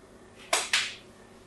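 A thin blade scores diagonal lines into the surface of a solid pink soap bar held in the hand. Two short, bright scraping strokes are heard in quick succession, each fading over a fraction of a second.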